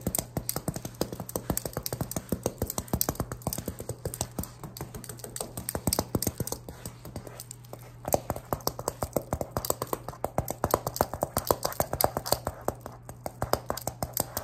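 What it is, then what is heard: Metal knife tapped. A person dressed as Ghostface taps and scratches a metal prop of Pyramid Head's knife, producing a dense run of quick, sharp, short-lived metallic taps with a faint scraping texture. A steady low hum runs underneath throughout.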